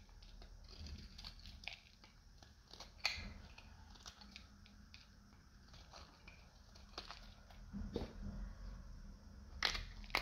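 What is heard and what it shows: A solid, hand-sized green bar of dried soap with a dark coating is held in one hand and shaved with a metal utility knife blade, peeling crunchy flakes onto a white surface. Quiet, bright scraping crunches repeat unevenly, with a few sharper crackling snaps standing out above the soft rasp.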